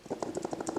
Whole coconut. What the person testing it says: dacă auziți acest zgomot atunci ca o minge în interior care bate între un perete al celuilalt